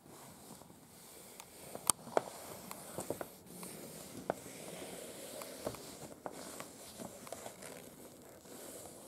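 Long acrylic nails on both hands tap and scratch a large, unfolded, thin printed paper museum guide sheet lying flat on a bed. Quiet, bright paper scratching and rustling runs throughout, broken by sharp, irregular clicky taps.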